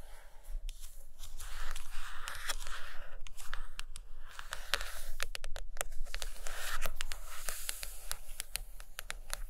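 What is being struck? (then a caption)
Hardcover book with a glossy cardboard cover. Long acrylic nails on both hands scratch and tap across the glossy, cartoon-printed cardboard cover of a large hardcover book lying flat on a fuzzy carpet. Soft, hissy scratching swells and fades between quick, crisp taps that click with almost no ring, irregularly paced over a faint low rumble.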